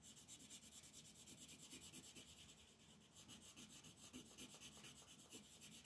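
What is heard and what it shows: A magenta wooden colored pencil is rubbed in quick back-and-forth shading strokes across a flat white paper mandala coloring sheet lying on a table. The result is a soft, bright, scratchy rasp with steady rhythmic pulses. It dips a little quieter for a moment near the middle before the strokes pick up again.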